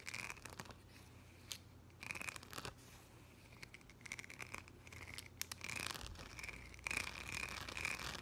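Fingertips and nails rub and tap across the gems of a thin, flat yellow plastic rhinestone sticker sheet held in one hand. The result is a quiet, bright, crinkly scratching with irregular sharp clicks and short bursts of raking.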